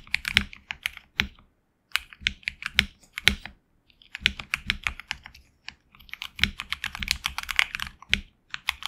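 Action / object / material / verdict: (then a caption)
tap / mechanical keyboard with PBT plastic keycaps on an aluminum plate / plastic / none. Fingertips of both hands type on a HyperX Alloy Origins Core tenkeyless mechanical keyboard with HX Red switches and PBT plastic keycaps on an aluminum plate in a hollow case. Quick bursts of bright, crisp clacks centered around 2.3 kHz arrive in uneven runs, with a slight low thock under each keystroke. The typing briefly pauses between runs and each key sound cuts off almost instantly.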